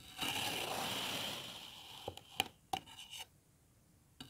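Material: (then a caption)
Kinetic sand. A metal knife with an iridescent blade slices and scrapes through a solid, hand-sized molded block of green kinetic sand, leaving cut lines. A long, bright, gritty scrape fades out over the first second and a half. Five short, crisp slicing ticks follow at uneven intervals.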